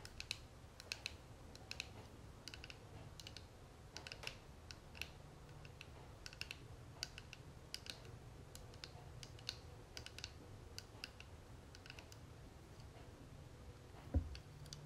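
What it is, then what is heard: Metal cigarette case tapped with fingernails. A small, flat, hollow gold-tone metal cigarette case with a dark striped panel is held in the hand and tapped and scratched with long manicured nails. Quiet, sharp, bright clicks and light scratches come in quick, uneven bursts over a steady low hum, with a louder knock near the end.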